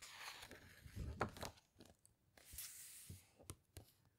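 A hand lies flat on an open hardcover book with glossy photo pages, squeezing and rubbing the page with the fingertips, then turning the page with long nails. Soft, papery crinkling and rubbing swell into a crisp, tearing-like rustle, followed by quieter scrapes and a few sharp, bright clicks and ticks.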